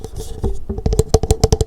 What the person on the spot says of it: when you put an open cup this way and you tap on it, I can hear really great if I put it in my ear. It has a great echo sound